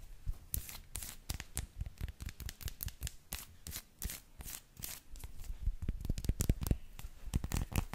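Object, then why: Milk chocolate bar. An unwrapped, solid milk chocolate bar with square segments, held in both hands, is tapped and scratched with long lilac nails. Quick, dry, irregular taps and short scratchy strokes carry a soft low thud beneath sharp, crisp tops, and they grow denser and slightly louder toward the end.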